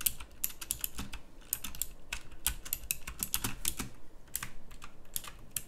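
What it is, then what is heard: Mechanical keyboard with round plastic keycaps. Fingertips type across a full-size backlit pink mechanical keyboard with round plastic typewriter-style keycaps. It makes a steady run of short, sharp, bright clicks that stop almost instantly, over a faint low rumble.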